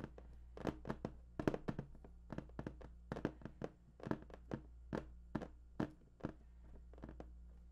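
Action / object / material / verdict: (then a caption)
tap / large cardboard box / cardboard / none. Fingertips drum and tap on the top of a large, hollow, printed cardboard PS4 box. Quick, irregular bursts of short, dull, hollow taps and thuds come in clusters and die away almost instantly, over a faint steady low hum.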